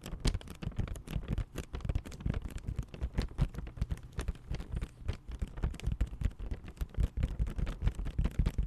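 A medium cardboard box wrapped in glossy red and white Christmas paper, which seems hollow, is held up and tapped quickly with fingertips and nails. The result is a dense, continuous run of soft, dull thuds that are mostly deep and boomy, centered around 70 Hz. Each tap dies away almost at once.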